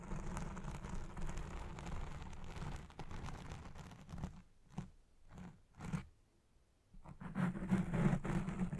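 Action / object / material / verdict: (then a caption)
scrape / foam microphone windscreen / foam / none. Long red-painted nails scratch fast across a black foam windscreen on a Blue Yeti Pro microphone, making a dense, low, muffled crunching rustle. The scratching thins into a few short bursts separated by near-silence midway, then returns louder and fuller at the end.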